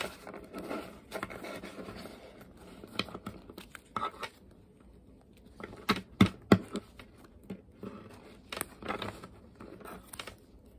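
A deck of UNO cards made of thin coated card stock is split into two halves and riffled and bridged back together by hands with long painted nails above a wooden table. Bursts of rapid, papery fluttering clicks and crisp snaps come in uneven runs, with the sharpest snaps in the middle and quiet gaps between shuffles.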